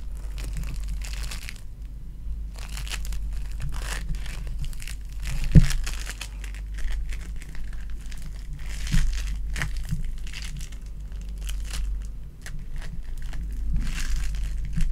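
A palm-sized, solid and soft lilac ball of sticky foam clay, made of tiny polystyrene beads in clay, is squeezed and crushed in both hands with long dark-painted nails. It gives dense, continuous crinkling and crackling with bright bead pops and a few sharper squishes, over a steady low hum.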